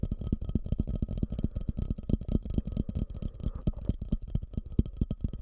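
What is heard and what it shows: Fingertips tap and scratch on a medium, fluted, glossy orange glazed ceramic bowl that sits upside down over the microphone, hollow and empty. Quick, uneven taps come through as dull, low, boomy thumps that die away almost at once. A faint scratchy texture and a thin, steady high tone sit underneath.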